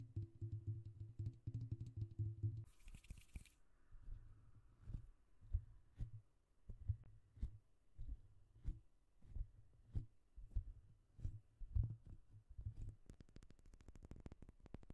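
Fingertips and short nails of both hands tap on the hollow domed metal mesh grille of a silver Blue Yeti USB microphone. The result is a quiet, steady run of quick, dull, bassy thumps with almost no ring, and a brief brighter scratchy burst early on. Toward the end, the taps turn into crisper, ticking clicks.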